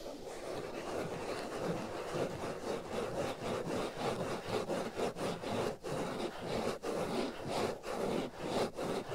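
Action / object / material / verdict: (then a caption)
scrape / foam microphone windscreen / foam / none. Fingernails scratch and rub a black foam windscreen covering the right ear of a binaural microphone. A dense, scratchy rustling with a midrange body comes through close and loud, in uneven back-and-forth strokes at about two per second with brief dips between them.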